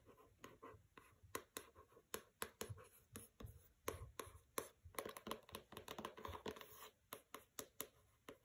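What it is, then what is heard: Hardcover book tapped and scratched with nails. Long nails tap and scratch the paper-covered cover of a pink hardcover book, "Don't Overthink It," lying on carpet with a fabric bookmark untouched beside it. Around 28 sharp, dry taps, each with a bright click, are separated by soft, rasping scratches across the cover.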